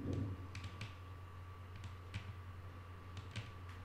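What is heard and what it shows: Long nail tips tap lightly on a flat, solid wooden tabletop, making quiet, scattered, bright clicks that fade quickly. A steady low hum and a faint constant tone sit underneath the taps throughout.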